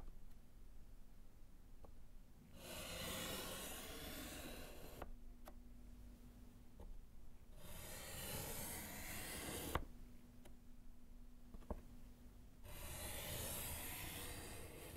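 A gloved hand strikes through words with pink chalk on a small, flat, solid slate chalkboard in a wooden frame. Three long, bright, hissing chalk scratches and rubs are heard, separated by quiet pauses with light taps and a low steady hum.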